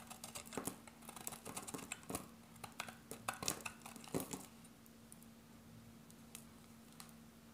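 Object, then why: Bar of soap shaved with a metal blade. A solid grey bar of dry soap, held in the hand, is shaved with a metal box-cutter blade, and the pieces fall onto a pile of shavings. Irregular, crisp, bright scraping crackles come in quick bursts for about four and a half seconds, then fade to faint, sparse ticks over a steady low hum.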